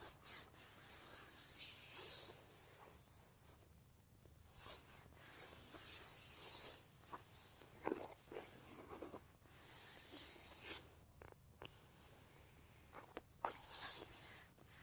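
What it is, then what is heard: Leather bag being scratched. Fingertips with short-medium nails scratch and rub the flat surface of a large, soft, hollow brown leather tote bag held upright. Bursts of dry, bright scratching and rubbing rise and fall over a quiet low hum, with a few sharper taps standing out.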